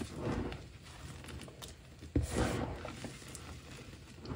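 Both hands scoop, squeeze and crumble handfuls from a large pile of loose, crumbly, light blue dyed gym chalk powder on a dark surface. The result is soft, low, muffled crunching and gritty rustling, with a sharper crumbling burst just past two seconds.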